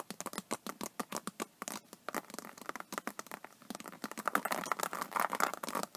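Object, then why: Faux snakeskin vinyl tablet case. Long nails scratch and tap along the embossed scales near the edge of an iridescent faux snakeskin vinyl iPad case. A rapid series of short, dry clicks and scratches is heard, with little low end, and it thickens into denser, brighter scratching toward the end.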